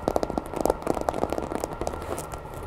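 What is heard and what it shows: Long nails rapidly tap and scratch the ridged tail and body of a grey, hollow vinyl Godzilla toy figure held over a wooden table. The result is a quick run of short, dry, hollow clicks centred around 530 Hz that die away almost instantly, with a faint bright scratchy hiss between them.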